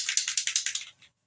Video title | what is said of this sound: Handwriting & Fold Out Prompt | you gotta shake it till you hear the little ball